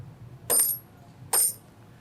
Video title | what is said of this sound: Rare Collectibles TV | These coins struck on a 90% silver planchet, and they have a very different sound. That's the sound of silver, folks.